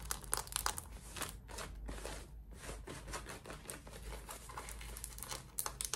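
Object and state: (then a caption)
Denim shorts scratched with fingernails. Long red nails scratch the waistband and front fabric of worn, light-wash cotton denim shorts. The result is a run of quick, dry, crinkly scratching bursts with a bright, hissy edge over a faint low hum. The scratching is busiest at the start and end, with a brief quieter pause in between.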